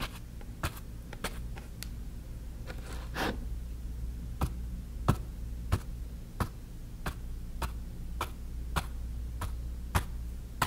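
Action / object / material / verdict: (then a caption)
tap / stretched cotton canvas on a wooden frame / cotton canvas / none. A flat bristle brush stipples and strokes wet paint on a small stretched cotton canvas on a wooden frame lying flat on a table. Short, crisp dabbing taps land at an uneven pace over a steady low hum, each a brief bright click that dies away almost at once, with a softer brushing swish in between.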